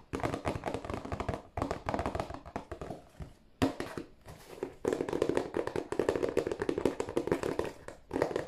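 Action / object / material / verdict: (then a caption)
tap / cardboard tissue box / cardboard / none. A hollow, glossy cardboard tissue box is held upright in both hands and tapped with fingertips and nails on its bottom and end. Bursts of rapid, dense tapping produce hollow, mid-pitched papery knocks with little low end, separated by brief pauses. Each tap dies away almost instantly.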